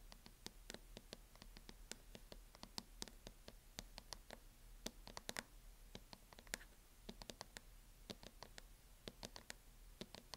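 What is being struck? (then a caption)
Plastic hard-shell laptop case. Long nails tap and scratch near the front edge of a closed MacBook's lid, which is in a teal matte plastic hard-shell case. Quick, dry, bright clicks come in irregular bursts, with almost no ring, mixed with soft scratching over a quiet, steady low hum.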